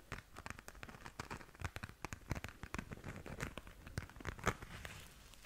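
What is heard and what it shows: A small, flat pink glitter-covered zip pouch, soft, hollow and seemingly empty, is held up in both hands and scratched and tapped across its glittery surface with long nails. The result is a dense stream of quick, dry crackling and crinkling taps with short bright edges over a soft low body.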